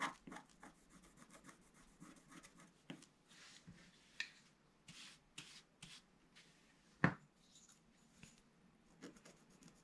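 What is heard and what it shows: A wooden stylus held in the fingers scratches lines into a flat A4-size scratch art sheet, a black coating over metallic card, lying on a table. Quiet, dry scraping strokes come in short, bright rasps with soft pauses between them. One sharper, louder scratch stands out near the end.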